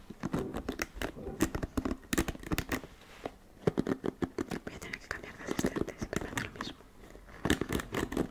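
Fingertips and long nails scratch and run over the dense bristles and plastic back of a flat black paddle hairbrush held close to the mic. Rapid bursts of crisp, crackly ticks come in clusters, with brief quieter pauses near the 3- and 7-second marks. Each tick stops almost instantly, leaving a dry, close-up texture.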